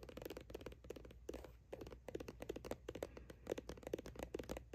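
Long acrylic nails scratch and rub along the side of a hollow plastic sunscreen tube with a printed label, running across the text and barcode. The result is a quiet, rapid run of dry, scratchy strokes with a hollow low-mid body and no ring, briefly easing into a softer rub partway through.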